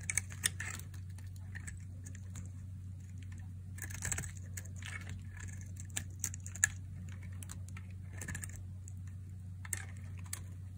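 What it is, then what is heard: Dry bar soap being cut. A metal blade cuts and scrapes pieces off the side of a palm-sized, solid, translucent red striped bar of dry soap held in one hand. The sound is a series of crisp, bright clicks and scratchy scrapes with short, dry attacks that fade almost instantly, over a steady low hum.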